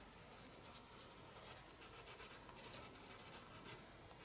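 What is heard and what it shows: A pencil draws on the paper page of a spiral sketchbook resting on a desk, giving a steady, quiet scratching and rubbing with bright, hissy strokes that rise and fall throughout.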